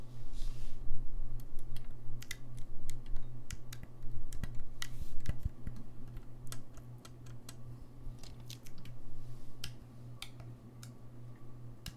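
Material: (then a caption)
Brass. Fingertips press and click the keys of a hollow, gold-lacquered brass saxophone held in a lap. Irregular, sharp key clicks come quickly over a steady low hum, louder at first and growing softer toward the end.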